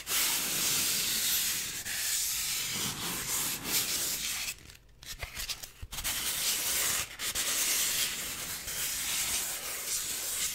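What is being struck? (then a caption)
Styrofoam block. A solid white styrofoam block is rubbed with a flat hand and fingers, making a continuous bright, hissing scrape with almost no low end. The rubbing runs in uneven strokes, drops to a brief quiet stretch just before the middle, then resumes at full strength.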